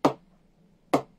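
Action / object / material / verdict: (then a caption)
tap / willow cricket bat tapped with a ball / willow / soft. A butterfly willow cricket bat, soft and well pressed, is tapped twice on its blade with a ball to show its ping. Each tap is a sharp, hollow knock with a short bright ring, and the ball springs off the blade, marking good ping.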